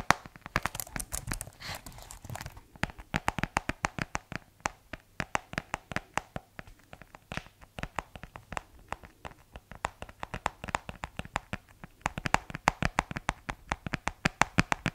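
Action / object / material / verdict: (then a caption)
tap / plastic keyboard and case / plastic / none. Fingertips tap the black keys and the plastic shell of a white plastic keyboard case. A rapid, steady run of short, dry clicks and taps follows, each dying away almost instantly, with a faint rustling texture between them and a denser burst of tapping near the start.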